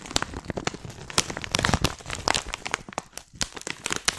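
A hand-sized, filled, white printed plastic tea pouch is crinkled and scratched with long painted nails and fingertips. The result is a dense stream of sharp, bright crackles and crinkles with quick taps and scrapes that stop almost instantly, with little low end.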